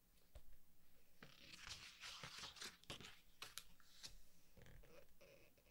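A hand rubs flat across a glossy color page of a large softcover artbook, then fingertips turn its pages. Soft, bright rustling and crinkling swishes build into sharp paper flips with quick, dry snaps that stop almost at once.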